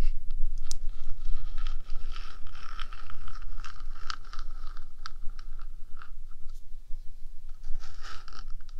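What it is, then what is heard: Metal microphone housing being scratched. Long dark nails scrape and scratch across the top of a 3Dio microphone's small metal housing. The result is a steady stream of close, crunchy scratching with sharp bright bursts, a hissy band around 1.2 kHz, and a heavy low rumble underneath.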